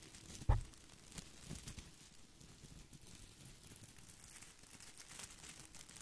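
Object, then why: Plastic artificial boxwood ball. A head-sized artificial boxwood ball with plastic leaves is held in both hands against the microphone while fingertips rub and scratch across its leaves. A sharp crinkling snap opens the clip, followed by a steady stream of soft, dry rustling and crinkling scratches with faint bright highs.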